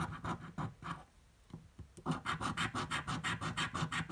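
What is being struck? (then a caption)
Paper scratch-off ticket scratched with a coin. A metal coin held in the fingertips scratches a purple paper scratch-off lottery ticket resting on a table, making dry, rasping strokes with a low papery rub and a bright hiss. About 17 strokes can be heard: a few at the start, a quieter lull with light scrapes, then a steady, rapid run of back-and-forth scratches.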